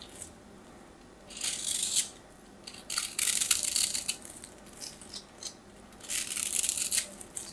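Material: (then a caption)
Soap. A metal craft knife carves crunchy, dry flakes off the surface of a solid white soap bar. Bright, crackly scraping comes in three main bursts, with quieter scratches and clicks between them and almost no low end.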